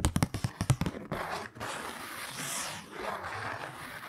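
A kraft-paper Christmas card is held in both hands while fingernails tap its printed front nine times in quick, uneven succession, each tap short and dull. Then the nails scratch across the card in a continuous, breathy rasp that rises and falls for the remaining three seconds.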